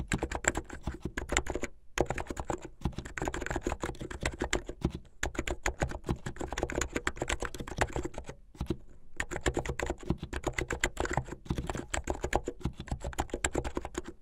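Fingertips and nails type fast on a plastic mechanical keyboard with white and blue plastic keycaps and a blue case. A dense stream of short, clacky keystrokes with a low, thocky body runs throughout, broken by brief pauses near 2, 5 and 9 seconds. Each stroke dies away almost at once.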